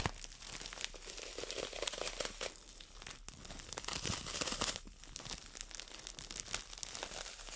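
Long nails scratch and tap a solid green floral foam brick in a clear plastic wrapper held in both hands. The result is a steady, dense crinkle of bright plastic rustling and quick scratchy clicks, with little low end and no ringing between touches.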